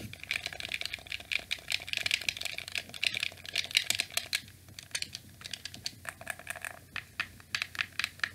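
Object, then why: Plastic game controller. A black hollow plastic PlayStation 2 controller is held in both hands while fingertips press and click its shoulder buttons and face buttons. Rapid, irregular bursts of short, sharp, bright plastic clicks die away instantly, with a dense flurry in the first half that thins to more spaced clicks later over a faint low hum.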